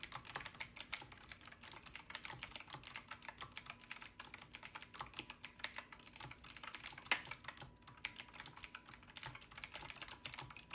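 Fingertips of both hands type rapidly on a retro typewriter-style mechanical keyboard with round black plastic keycaps and a side knob. The result is a dense, steady stream of bright, crisp key clicks with very short decay and little low end.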